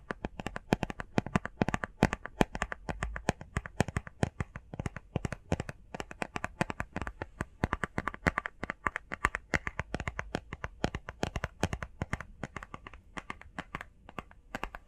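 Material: Cardboard.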